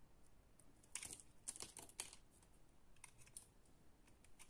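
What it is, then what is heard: Bar of soap being cut. A utility knife blade cuts and scrapes small cubes off the surface of a solid pale green and purple bar of soap held in the hands, and the cubes fall onto a table. Quiet, crisp clicking and crackling cuts come in short bursts with bright, sharp edges and no ring.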